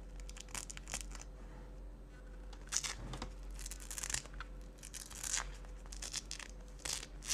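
Fingers with long dark-painted nails repeatedly pull apart and press together the dark hook-and-loop patches on the cuff strap of a pale yellow synthetic fabric jacket held on a wooden table. Bright, rasping tearing bursts alternate with softer crinkling and rustling. A steady low hum runs underneath throughout.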